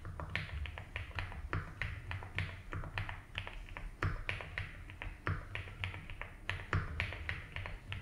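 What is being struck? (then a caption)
Mechanical keyboard with plastic ABS keycaps. Both hands type steadily with their fingertips on a compact 75% mechanical keyboard with a blue case and white and blue ABS keycaps. Quick, unevenly spaced keystrokes give short, bright clacks over a low, steady rumble. A faint high tone holds underneath throughout.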